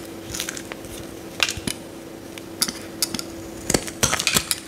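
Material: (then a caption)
Soap. A metal utility knife blade scores and scrapes the surface of a solid yellow Lifebuoy soap bar held in the hand. Short, crisp, bright scraping and cutting strokes come in separate bursts over a faint steady low hum.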